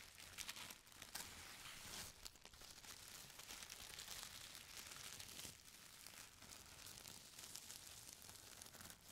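Fingers scratch a folded stack of thin purple tissue paper, then roll and fold a sheet. The result is a steady, bright crinkling and rustling with many small crisp crackles and very little low end, holding at a fairly even quiet level throughout.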